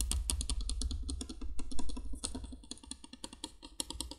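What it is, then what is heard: Plastic candle light. A hollow yellow plastic candolier candle light lies on its side with its candle sockets exposed while long nails tap quickly on the plastic. The result is rapid, irregular, dry clicking with sharp bright transients over a low hollow hum, each tap dying away almost instantly.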